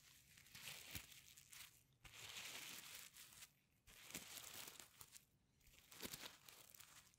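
Fingers swipe the reversible sequins on a flat sequin-covered fabric pencil case back and forth. The result is bright, dry crinkling and rustling swishes that come in uneven bursts, with brief quieter gaps between passes.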